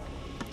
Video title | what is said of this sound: 2020 Rolls Royce Dawn FOR SALE | you can tap your nail on it and it literally sounds like metal